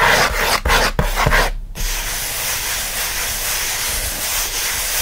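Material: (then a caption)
Cardboard. Both hands rub and scratch the surface of a closed kraft cardboard shipping box with the fingertips. It makes fast, dry, hissing scratches that break into quick strokes with brief pauses at first, then settle into a steady, continuous scrape.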